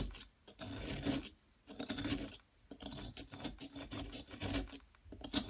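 A metal tool scrapes and chips at a solid yellow, bar-shaped plaster excavation block. Bursts of dry, gritty rasping come in uneven strokes separated by brief quiet pauses, with bright scratchy texture and a faint steady tone around 250 Hz.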